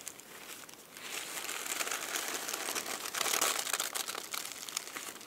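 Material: Paper.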